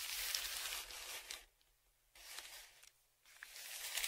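A dark flat stick, a tongue depressor, scrapes across the crinkled surface of a large brown kraft paper Amazon padded shipping envelope lying flat and held down by one hand. It makes three bright, hissy scraping bursts with a papery crinkle, separated by near-silent pauses and with almost no low end.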